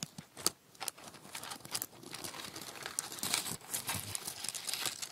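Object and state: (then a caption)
Dry brittle autumn leaves. A small stack of dry, crisp red and yellow cherry-type leaves, held in both hands over a white table, is pressed and bent with the fingertips. The thin, brittle leaves give off dense, bright crinkling and crackling in quick bursts that build into a near-continuous rustle, with little low end.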